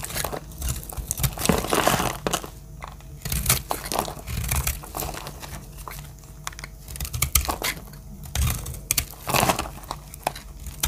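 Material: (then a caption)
Soap. A metal blade cuts dry chips from a lavender solid soap bar held in hand, producing a steady run of dry, crisp crunching and crinkling scrapes. Each stroke gives a short, dry burst of bright, crackly texture over a low, soft body, with quick decay and brief pauses between cuts.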